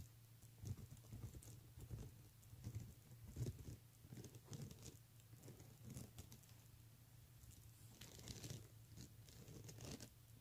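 Fingernails quickly tap and scratch across the beads of a pink plastic beaded handbag, making soft, dense clicking and scratching with bright ticks. A steady low hum sits underneath throughout.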